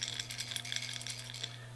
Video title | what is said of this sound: We Care You Matter with H2OTackle.com #107 | So you got the rattle. Got the rattles in it.